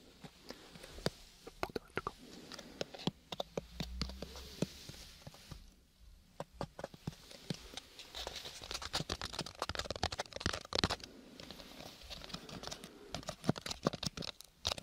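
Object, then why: Small paper-covered cardboard box. Fingertips and nails tap and scratch a small, hollow, square lidded gift box covered in purple linen-textured paper over cardboard, its contents not visible. Quiet, irregular clusters of dry, sharp taps mix with bright papery scratching, each tap dying away almost at once, with a soft low thump near the four-second mark.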